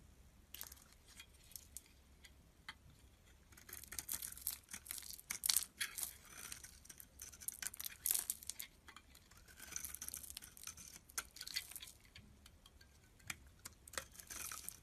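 A solid rectangular yellow bar of soap, held in the hand, is shaved and carved with a metal utility blade while flakes pile up. The cuts come as dense, quiet bursts of crisp, bright scraping and crackling, with almost no low end and no ring after each stroke.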